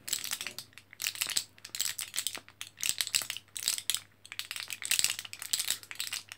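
An orange, foil-backed plastic blister card full of capsules is held in both hands while fingertips press and tap the plastic blisters, making the capsules rattle. The sound is a bright, crisp clicking and rattling in short bursts roughly every second, with almost no low end and each click dying away quickly.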